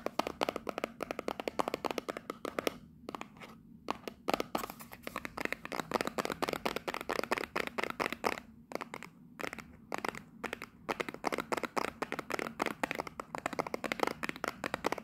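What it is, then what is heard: Small cardboard box. Long nails rapidly tap and scratch the sides of a small Union Jack printed cardboard box held in a hand. The result is a dense stream of dry, papery clicks and crinkly scrapes with a bright edge and almost no ring, broken by brief pauses around 3–4 and 8.5–9 seconds.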